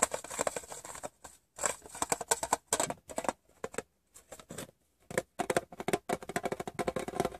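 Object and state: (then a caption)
Metal gum tin. Fingertips and painted nails tap the rim and side of a rectangular, printed metal Wrigley's gum tin that is hollow, empty and open. The result is quick, light, clicky taps with a bright edge and a hollow tone around 680 Hz. They come in rapid bursts separated by brief pauses, and each tap dies away almost instantly.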